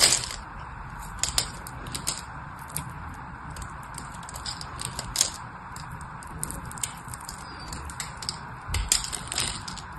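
A blade carves cubes and slices along the edge of a solid white bar of soap held in the hand, and the pieces crumble off. Bright, crisp crunching and scraping run throughout over a steady soft hiss, broken by sharper crackling snaps as pieces break away.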